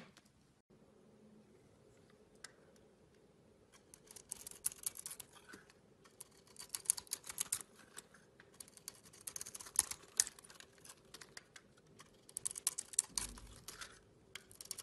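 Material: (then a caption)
Soap. A metal blade scrapes and carves chunks off a hand-sized solid green bar of soap with a pink core, held in a hand with long red nails. After a quiet start, bursts of crisp, bright scraping and crackling come in irregular clusters, with many short, sharp clicks and little low end beneath a faint steady hum.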